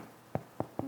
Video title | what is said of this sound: How to bake a White Bread Loaf - Beginner to Seasoned Bread Baker ✪ MyGerman.Recipes | if it sounds hollow that tells you that your bread is ready to be taken out of the oven